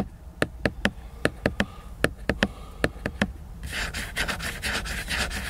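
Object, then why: Laminated paper book cover. Fingertips and nails tap a large picture book's glossy laminated paper cover twelve times, each a short, dry click with a faint hollow ring. The tapping then gives way to bright, hissy scratching strokes across the cover.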